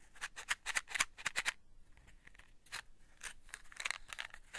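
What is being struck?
Cardboard matchbox.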